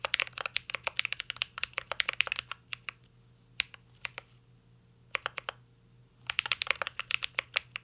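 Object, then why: Mechanical keyboard with aluminum case and plastic keycaps. Fingertips of both hands type on a full-size CYBERBOARD R3 mechanical keyboard with an aluminum case, plastic keycaps and Holy Panda switches. Fast bursts of short, bright, crisp key clacks, centered around 2.6 kHz, open and close the clip, with only a few scattered taps in the quieter middle stretch. A faint steady low hum runs underneath throughout.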